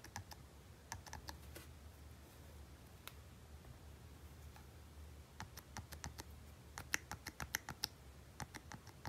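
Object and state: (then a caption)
Plastic handheld game console buttons. A small red and gold Nintendo Game & Watch Super Mario Bros. handheld with a hard plastic shell is held in both hands while fingertips repeatedly press and click its plastic buttons. Sharp, bright, short clicks come in irregular bursts, with a quieter stretch in the middle, over a faint low hum.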